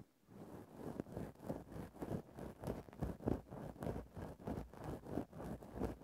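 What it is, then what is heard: Synthetic fur microphone windscreen. A thin bamboo stick held in the fingertips scrapes across a grey synthetic faux-fur microphone windscreen in a steady back-and-forth rhythm. About fifteen soft, muffled, scratchy rustling strokes swell and fade at a slightly uneven pace. The sound stays dull and low-to-mid in tone, with no bright edge.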